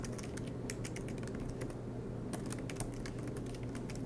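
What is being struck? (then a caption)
Plastic laptop keyboard keys. Both hands type continuously with fingertips on the black plastic low-profile keys of a MacBook Pro laptop with a silver aluminum body, resting on a green desk mat. Rapid, soft key taps click brightly over a steady low background hum at an even level throughout.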